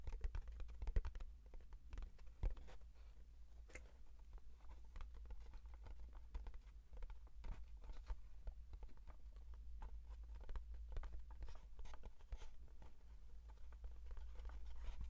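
Fingertips tap quickly on the face and edges of a small, hollow brown kraft cardboard box as it is turned near the microphones. The result is a soft, dry, rapid patter of short clicks over a steady low hum.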